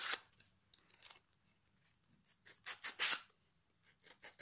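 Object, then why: Pine wood board. A small piece of sandpaper held in the fingers is rubbed over the edge and face of a solid pine plank fitted with metal hooks. About eight short, bright, dry rasping strokes are heard, separated by quiet pauses, with a cluster of louder strokes near the end.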